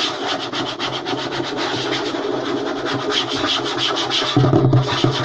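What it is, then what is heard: Wooden tabletop scratched and tapped. Short nails and fingertips of both hands rapidly scratch and tap a flat, light wooden tabletop. The result is a steady, rhythmic rasping with a bright hiss over soft low knocks. Near the end, the taps grow louder and heavier.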